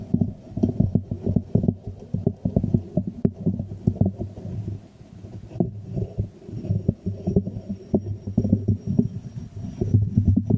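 A small hollow white ceramic jar is held upside down in both hands while fingertips and nails tap and scratch its glazed surface. The sound is a dense run of soft, muffled, low-pitched taps and rubbing with a hollow, thumping resonance. It stays mostly below 1 kHz and has almost no bright content.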